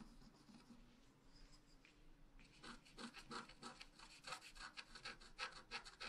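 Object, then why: Black-coated scratch art paper scratched with a wooden stylus. A wooden stylus scratches lines into the coating of a flat, black-coated scratch art paper sheet resting on a table. Faint, soft scraping gives way after about two seconds to louder, quick, bright strokes in a loose rhythm. The strokes are dry and stop cleanly, with no ring.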